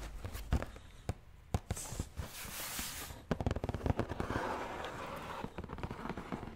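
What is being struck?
Cardboard shoe box lid.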